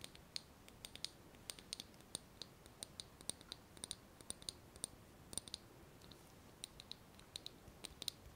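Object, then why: Small glass jar with metal lid. Long nails tap around the glass of a small glass jar with a metal lid, partly filled with small pieces. About forty quick, quiet, dry clicks sound with bright high-pitched ticks and almost no ring, spaced irregularly over a faint hiss.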